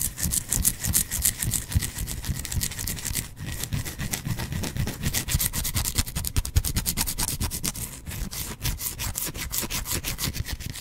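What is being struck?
Bar of soap.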